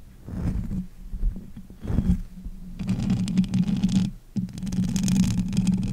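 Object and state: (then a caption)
Metal mesh microphone grille being scratched. Fingers with long nails cup, grip and scratch the hollow bare metal mesh grille of a pink condenser microphone. Close, muffled low rumbles and soft thumps swell in bursts, then a dense scratchy crackle over a steady low hum fills the second half.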